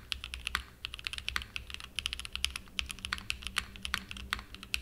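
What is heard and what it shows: Fingertips type continuously on a small 60% Frog mini mechanical keyboard with a purple aluminum case and cream and purple plastic keycaps, resting on a desk mat. A rapid stream of crisp, bright clacks cuts off almost instantly after each press, over a faint low hum.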